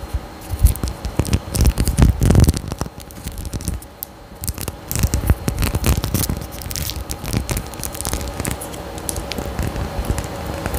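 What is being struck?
Small faceted glass bottle.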